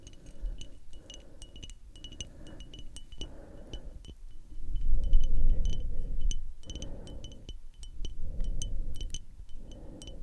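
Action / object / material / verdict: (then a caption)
tap / small frosted glass perfume bottle with metal cap / glass / none. A small rectangular frosted glass perfume bottle with a metal spray cap, held close to the microphones, is tapped rapidly with long acrylic nails. The taps give short, bright clicks over soft, breathy whispering and low rumbling handling noise.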